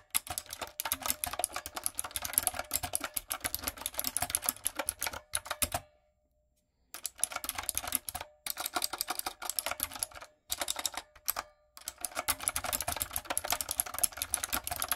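Long coffin nails and fingertips type rapidly on a backlit, typewriter-style mechanical keyboard with round retro plastic keycaps and a hollow plastic body. The result is a dense stream of bright, sharp clicks with almost no ring, broken by a full pause of about a second near the middle and a few shorter breaks later.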